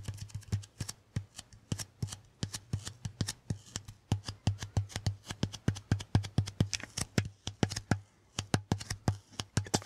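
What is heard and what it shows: A handheld lint roller, a white sticky paper roll on a grey plastic handle, is held upright by the mic while fingertips repeatedly tap and pull off its sticky surface. Rapid, short, crisp sticky ticks and peeling snaps follow one another throughout, over a steady low hum.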